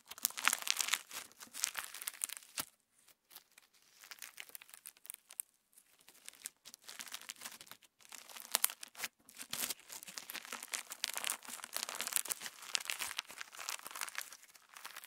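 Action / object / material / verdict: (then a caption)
scrape / clear slime with plastic sequins / slime, plastic / none. A handful of clear orange slime filled with plastic star sequins, a solid soft mass, is kneaded, stretched and pressed between fingertips. It gives bright, crinkly squelching and crackling bursts, mostly high in tone, with brief quieter pauses in between.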